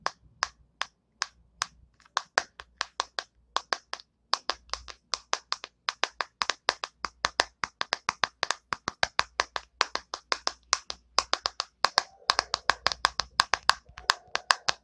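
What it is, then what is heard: Plastic hairbrush. Long nails tap and scratch the hollow plastic back and the bristles of an orange plastic hairbrush held bristles down. The result is a steady stream of dozens of sharp, dry, clapping taps with a bright click and almost no ring. Some faint scratchy rustle shows between taps, especially near the end.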